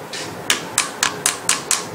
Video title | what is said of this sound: So You Got a Cremina Video 01--Unpacking and Evaluation of Status | it sounds a bit Hollow so this is all going to have to come off and it sounds Hollow because it's come loose from the boiler itself